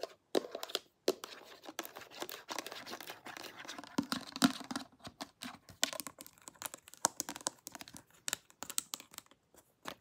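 Long nails tap and scratch along the body and pink cap of a small, partly filled clear glass perfume bottle with a pink label, held sideways. Quick, crisp clicks mix with dry, crinkly scratching, bright and thin with almost no low end and very short ring. The taps come in irregular bursts, with brief silences between some of them.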